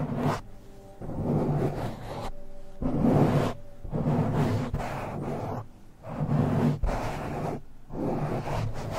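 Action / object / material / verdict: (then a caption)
scrape / foam microphone windscreen / foam / none. Fingertips scratch and rub the black foam windscreen on a silver microphone in slower strokes. The result is a series of muffled, low, swishing bursts of rough rubbing, each stroke swelling and fading with short, quieter gaps between them.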